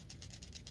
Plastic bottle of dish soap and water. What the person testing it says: when i start shaking it you can hear the water stop splashing around because the bubbles expand